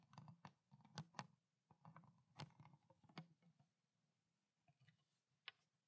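Long black nails tap and scratch a small, clear, ridged plastic water bottle with water inside, then tip it upright. Quiet, crisp clicking taps with a soft low body and bright edges mix with light scratching, each sound dying away almost at once. The clip ends with sparser, fainter taps and one last sharp click.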